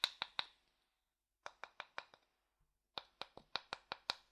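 A thin wooden stick taps and scrapes a medium, hollow, empty light wooden bowl, first inverted and then upright. Fifteen short, dry, bright knocks sound in three bursts of three, five, and seven, each dying away almost at once with a high, woody click.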